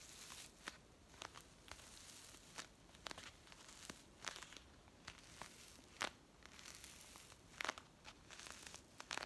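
Long nails tap and scratch a brown kraft paper coffee pouch with a white label that appears filled. Sharp, bright, dry clicks and crinkles scatter over a quiet, steady papery hiss, each tap dying instantly with no ring.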